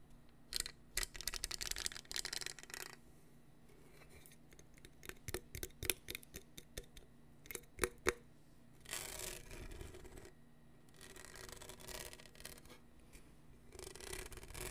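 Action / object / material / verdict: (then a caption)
scrape / hollow plastic tumbler with studded surface / plastic / none. Fingernails scratch and rub the studded surface of a hollow black plastic tumbler with a lid and straw, held in the hand close to the mic. Sharp, dry clicky taps come in irregular bursts, broken by longer stretches of bright, hissy scraping.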